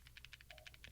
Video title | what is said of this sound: Shake, Rattle, and Phone - Developing an SDK, Amazon Appstore and Android 12, Best apps of 2021 | there is a rattle and the rattle has to do with the camera